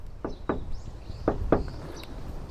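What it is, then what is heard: Untreated car door panel, resonant. Knocks on an untreated, resonant spot of a Toyota Wish's steel car door body panel, a reference for comparison with a sound-deadened area. Four short, hollow thuds are heard, centred in the low mids around 300 Hz. Each dies away almost at once over a low background rumble.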